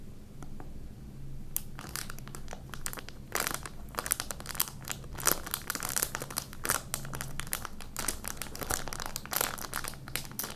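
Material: Plastic film.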